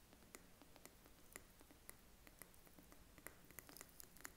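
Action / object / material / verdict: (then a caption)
tap / glass candle jar with metal lid / glass / none. A small glass jar candle filled with wax and topped with a gold metal lid is held in the hand and tapped with short fingernails on both the glass and the lid. The result is a quiet, irregular series of light, clicky taps, each with a brief bright ping near 1.9 kHz that dies away almost instantly over a soft low background.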